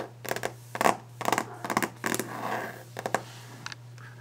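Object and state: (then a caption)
Solid varnished wooden desk. Long painted nails scratch and tap the solid varnished wooden top of a desk, making quick, uneven bursts of dry clicks and rasping strokes. The scratches are bright and brief, with a steady low hum underneath.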